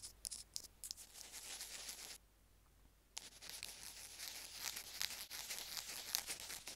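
Two bamboo ear picks scrape and scratch across a small white plastic Apple earphone mic remote resting on a stone slab. The result is a dense run of bright, dry scratching and crinkly rasps with a brief silent pause partway through before the scraping resumes.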